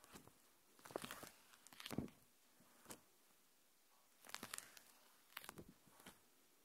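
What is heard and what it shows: A thin, flexible, translucent, hand-sized sheet of plastic protective film is held in both hands and bent and crinkled with the fingertips and long painted nails, held up close to the recorder. Bursts of bright, crackling crinkles come in irregular clusters, separated by near-silent pauses.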